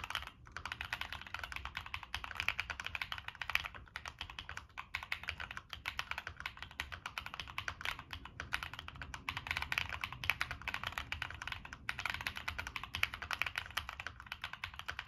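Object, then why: Mechanical keyboard with plastic keycaps and metal case. Fingertips type steadily on a Monsgeek M1 mechanical keyboard with NK Cream switches, a dark metal case and purple and black plastic keycaps. A continuous stream of short, dry, bright clacks runs throughout with very little ring after each keystroke, and only a faint low rumble beneath.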